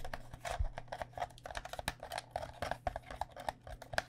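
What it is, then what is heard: Plastic cycling helmet tapped with nails. A white cycling helmet, a hollow plastic shell over foam held against the body, is tapped with long nails. A quick, irregular run of short, dry clicks, each with a hollow tone around 660 Hz and almost no ring, plays over a steady low hum.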